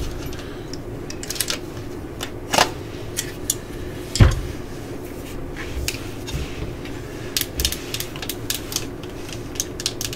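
A yellow and black plastic cordless drill with a hollow housing is held in the hands while long nails tap on its casing and clutch collar. Quick, irregular, bright clicks and ticks sound over a steady low background hum, with a couple of louder, duller knocks standing out.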